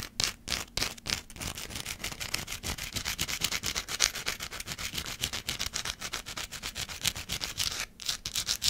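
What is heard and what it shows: Long black acrylic nails scratch the surface of a small, pale green solid bar of soap held in one hand near the microphone. Quick, dry scraping strokes follow one another at an uneven pace, bright and hissy with very little low end. Each stroke stops sharply with no ring.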